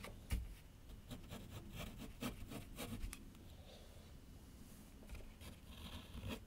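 A graphite pencil scratches long outline strokes across a large flat sheet of white paper on a board on an easel. It makes soft, dry scraping rasps in uneven bursts, with brighter streaks over a low, dull rumble from the board. The sound is quiet and close, with short strokes that stop cleanly.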